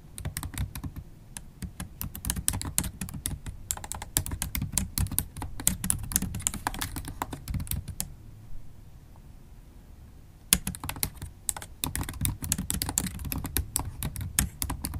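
Long holographic acrylic nails type on a MacBook Pro keyboard with black plastic keys set in an aluminum laptop body. The result is a dense run of quick, dry clicks and taps with a deep thump under each one. The typing stops for about two seconds in the middle, then resumes with a sharp tap.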